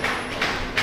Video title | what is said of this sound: Alu trick ep.16 ทุบกระจก!! กระจกโฟลต VS กระจกลามิเนต vs กระจกเทมเปอร์ แตกต่างกันยังไง? | ค่อนข้างจะแข็งมากถ้าเกิดเราทุบนะครับเราทุบยังไงมันก็ไม่แตกมันไม่แตกนะครับ